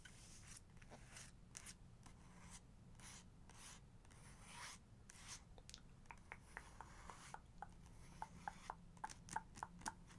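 Long nails on both hands rub and scratch the paper surface of a portrait page in a photography book, heard up close. Soft, breathy swishes of rubbing fill the first half, then give way to a quick series of sharp, clicky nail taps and scratches with a bright ring near 875 Hz. A low, steady rumble sits underneath throughout.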